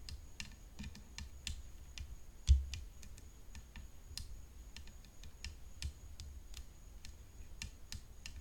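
Long fingernails tap continuously on the frame of a tennis racket, making a steady run of crisp, bright clicks. Under the clicks sits a low, dull rumble, with one louder thump about a third of the way through.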